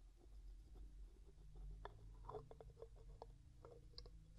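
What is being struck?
Glass jar with metal screw lid.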